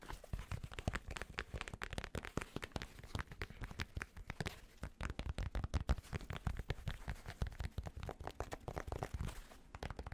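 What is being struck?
Fabric snapback cap.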